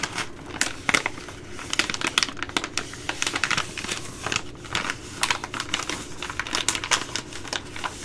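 A Ready Rice plastic laminate pouch, held close, is tapped and scratched with long glittery nails. The result is a rapid, irregular run of sharp, bright crinkles and clicks that die away almost instantly, over a faint low rustle.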